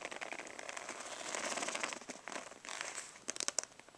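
Medium-long natural nails scratch and tap with both hands on the padded surface of a black stitched faux-leather makeup brush roll, rolled up, tied with a cord and lying on carpet. Dense, bright crinkly scratching fills the first two and a half seconds, then gives way to sharper, separate taps toward the end. The sound is quiet and high-pitched, with no low end.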